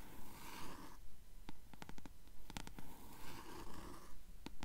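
Long nails scratch along the yellowed page edges of a closed paperback book held upright, making a soft, papery rasp. Two stretches of scratching are broken up by a run of quick, sharp ticks from the nails catching on the page edges. The sound stays quiet and close throughout.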